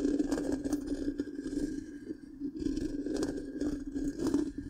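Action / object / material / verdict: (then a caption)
scrape / metal mesh microphone grille / metal mesh / none. Long pink-painted nails of both hands scratch the hollow black round metal mesh grille of a large microphone. The result is a continuous, gritty scraping and crackling with a steady low hum near 290 Hz, rising and falling in rough bursts with brighter scratchy flecks.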